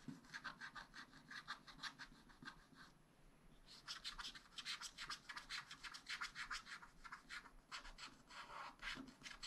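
A wooden stylus scratches green star shapes into the bottom of a black-coated sheet on a spiral-bound scratch-art pad. Quick, bright, rhythmic scratching strokes repeat steadily, with a brief quiet pause near the three-second mark before the scratching resumes and grows a bit louder.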